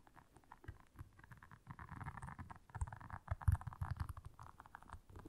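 Long nails scratch and tap across the soft bristles of a round, flat, blue solid silicone scrubber pad lying on black fur. The result is a quiet, muffled stream of quick, dry taps and scratchy patter, mostly low thuds with a soft rasp in the midrange. Each tap dies away at once, with no ringing.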